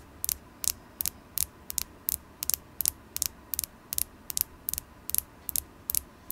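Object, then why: Carnelian stone. A carnelian crystal stone is tapped 21 times for ASMR, each tap a sharp, bright click that stops almost instantly. The taps come quickly at an uneven pace, some in close pairs, over a faint, steady low hum.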